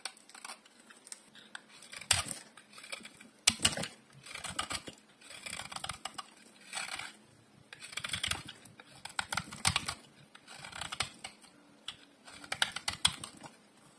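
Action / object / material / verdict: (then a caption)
scrape / soap bar shaved with a metal blade / soap / none. A solid oval bar of dry pink soap with an embossed brand name is held in one hand and shaved with a metal utility blade. Repeated crisp, bright scraping and crackling strokes come in short bursts with quiet pauses between them as thin layers are carved away.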